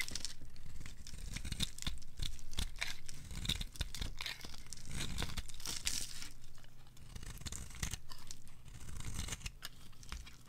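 A purple solid bar of dry soap, held in the hand, is carved and scraped with a metal blade, breaking off brittle purple flakes. The result is a continuous crisp, crackling scrape: dense, irregular snaps and tearing crunches with bright edges, riding over a steady low hum.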